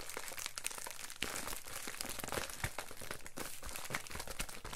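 Fingertips of both hands press, rub and scratch a plastic Amazon Prime poly bubble mailer lying flat on a counter. The result is dense, continuous crinkling, with sharp bright crackles and low rustling thumps throughout.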